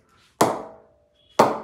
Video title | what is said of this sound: The Ravindra Jadeja Players Bats, Review of Bat 1/2. Get these online now www.brewingcricket.com | It sounds so beautiful. No effort whatsoever.